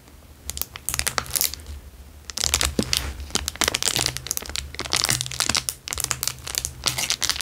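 A square clear plastic wrapper lying on a fabric surface is pressed and scratched with fingertips. It makes bright, dense crinkling and crackling bursts with a short quieter lull near the two-second mark. A faint low hum sits underneath throughout.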